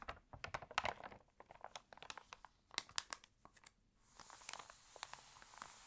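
Nails and fingertips scratch and rub the glossy, crinkled pages of an open water-damaged paper home magazine, making a rapid run of sharp, dry crackles and taps. Then a page is turned with a softer, sustained bright rustle.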